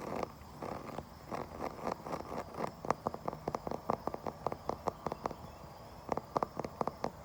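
A wooden surface is tapped and scratched outdoors. Soft, grainy scratching fills the first few seconds, then gives way to a run of sharp, dry, mid-pitched taps that die away instantly. After a brief pause, a final cluster of taps follows.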